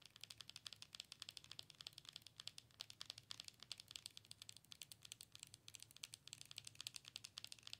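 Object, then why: Plastic owl-shaped night light. Long acrylic nails tap and scratch the front of a hollow, color-changing Hedwig owl night light, about head-sized and likely plastic, held in one hand. Dozens of quick, crisp, bright clicks and light scratches come in a steady, dense stream, with almost no low end and no ring after each tap.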